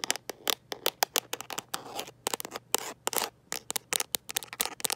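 Long nails fitted with metal paperclips tap and scratch a smartphone in a mint-green rubber and plastic protective case held in one hand. Rapid, sharp, bright clicks come in quick bursts, broken by short scratchy scraping passes. A faint steady low hum sits underneath.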